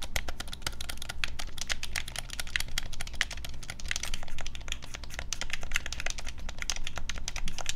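Fingertips and thumbs rapidly tap and press the buttons of a black plastic Nintendo Switch Pro controller, hand-sized and hollow, held in both hands over a wooden desk. A dense, steady stream of short, sharp, bright plastic clicks rings around 2 kHz, with a constant low hum underneath.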